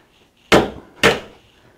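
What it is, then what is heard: Cast iron piece broken by a hammer blow. A hammer strikes a piece of high-quality cast iron from an old machine, showing it is weak and brittle compared with steel. Two sharp, bright metallic blows about half a second apart each decay quickly. The piece breaks.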